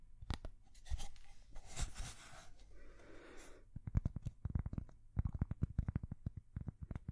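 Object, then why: Thin cork coaster. A thin, solid square cork coaster is held next to the microphone and scratched and tapped with long fingernails. Soft scratchy rustles come first, then a quick run of short, dull, low-toned taps with almost no ring.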